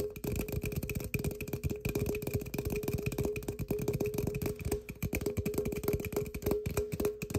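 A tall, slim, hollow aluminum energy drink can, held in both hands, is tapped and scratched with fingertips and short nails, its fill level not visible. A rapid, steady stream of short, dull taps and light scratches keeps going throughout, each tap giving a brief metallic ring around 418 Hz over a thumpy low end with faint high overtones.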